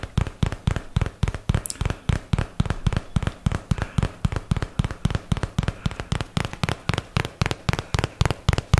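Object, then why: Paperboard product box. A cardboard paperboard product box is held near the microphone while a fingertip and nail tap on its faces and edges. About 39 quick, dull, low thumps come in a fast, uneven rhythm, each dying away almost at once with only a faint papery click on top.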